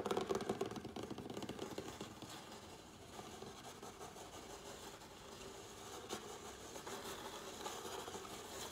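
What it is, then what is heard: Cardboard shipping box. Fingertips and nails of both hands tap quickly on the top of a closed, medium-sized cardboard Priority Mail box that is hollow with contents inside. The result is a fast, dense flurry of hollow taps with a papery, boxy tone around 400 Hz and bright clicking from the nails. It is loudest in the first two seconds, then settles into a steadier, softer patter.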